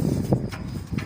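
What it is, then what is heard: Loose, worn stabilizer link ball joint. A worn metal stabilizer link rod ball joint under a car, with a torn rubber boot and no grease inside, is shaken by hand and gives dull, low clicking knocks. Three hits stand apart in about a second, each short and bassy with almost no ring. The loose joint is the cause of the clicking while driving, especially over bumps, and needs replacing.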